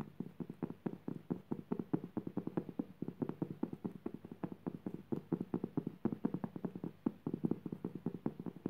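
Long purple nails tap quickly and scratch across a flat, coarse-woven jute burlap fabric lying next to a fringed rug edge. The result is a rapid, steady run of dozens of dry, muffled taps with a soft scratchy texture, concentrated in the low-mid range with almost no bright highs. Each tap dies away almost instantly.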